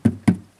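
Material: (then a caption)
Plastic. Two knocks on the plastic wall of an Igloo Sportsman 55 cooler give short, low, dull thuds that die away quickly with no bright ring. The wall sounds solid, unlike the hollow sound of the other cooler.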